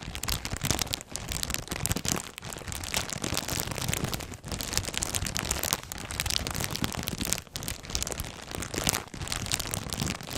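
A full, clear plastic polybag holding folded black clothing with a white tag is squeezed and crinkled by hands with red nails close to the microphone. The result is a dense, continuous, bright crackling crinkle with a low rumble from the handling, broken by a few brief quieter pauses.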